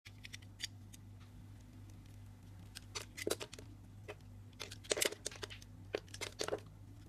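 A craft knife with a yellow handle scrapes and carves the surface of a hand-held pink-purple solid soap bar with a raised circle pattern, and the shavings collect below. Short, crisp, bright scraping and shaving strokes come in scattered bursts that grow denser and louder toward the middle and later part of the clip. A steady low hum runs underneath throughout.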